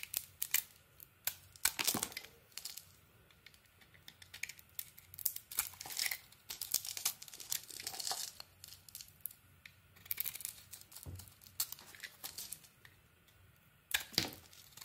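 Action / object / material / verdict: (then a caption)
scrape / bar of soap / soap / none. A solid rectangular purple soap bar with an embossed logo and a cream interior is held in the hand and carved and shaved with a utility knife blade, peeling off thick shavings. Quiet, bright, crisp scraping and crackling strokes come in irregular bursts, with short tearing-like sweeps between softer pauses.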